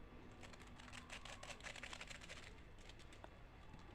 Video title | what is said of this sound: Dua Metode Pembuatan CornDog! Dilengkapi dengan Kelemahan dan Kelebihan Masing Masing! | ini suaranya kriuk-kriuk banget